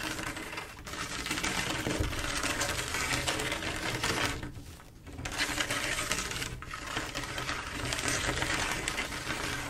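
Long acrylic nails on both hands scratch and tap across a flat mosaic tile picture of silver mirror-glass tiles set in grout. The result is a dense, crackling, bright scratching with quick clicky taps mixed in, running almost continuously. It briefly fades around the first and fifth seconds before picking back up.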